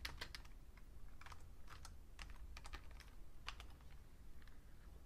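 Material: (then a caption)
Plastic. Fingertips type on a vintage beige plastic full-size Fujitsu Siemens computer keyboard, including the shift and right-side keys. Short, bright plastic key clicks come in irregular bursts over a steady low hum that carries most of the energy.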